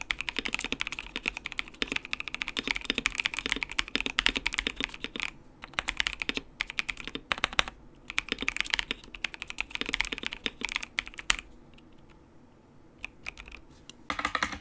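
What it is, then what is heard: Plastic mechanical keyboard being typed on. Fingertips type on a compact white plastic RGB mechanical keyboard with RGB backlight and plastic keycaps. Bright, crisp clacks come in rapid bursts with brief pauses, then near quiet with scattered taps before a final burst of typing at the end.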